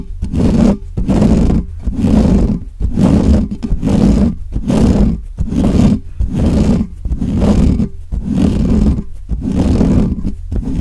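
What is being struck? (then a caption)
Metal mesh microphone grille. Fingertips of both hands quickly scratch the bare, hollow metal mesh grille of a black microphone. Steady repeating bursts of rough, scraping rumble come about once a second, heavy in the low end with a droning tone near 210 Hz and almost no high sound. It sounds like a deep, growling roar.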